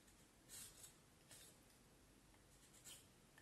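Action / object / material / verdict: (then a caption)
scrape / vine wood stick / wood / none. A small knife blade shaves and scrapes the end of a solid, peeled vine wood branch about forearm length, held in one hand, in short carving strokes as shavings pile up on the table. Quiet, bright, papery scraping bursts rise and fade over a low steady background.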